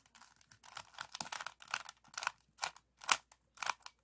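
A small, solid, stickerless plastic 3x3 puzzle cube with orange, yellow and blue faces is held in both hands while fingertips twist its layers. The turns give a quick series of dry, bright clicking and crunching bursts with almost no ring and no low end, coming faster at first and then spacing out into separate sharp turns.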